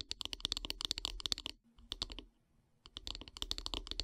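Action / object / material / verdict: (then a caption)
tap / wooden brush handle / wood / none. Long grey-painted nails tap rapidly along the solid wooden handle of a bristle body brush lying on a wood-slice mat. The dry, bright clicks come in quick bursts, pause briefly for a softer scattered patch with a faint low hum, then resume just as fast.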